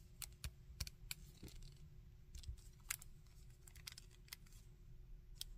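Fingertips work the joints of a small red and gold plastic Iron Man action figure and tap and scratch its torso. Sharp, bright plastic clicks and taps come in an uneven string over a soft, low background rumble, each dying away almost instantly.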